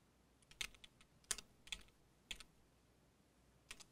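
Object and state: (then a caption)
Mechanical keyboard with plastic keycaps. A compact mechanical keyboard with cream and dark plastic keycaps on a solid case is typed on with the fingertips of both hands. Quick, bright key taps come in irregular bursts with very short decay. The keys clack against a quiet background.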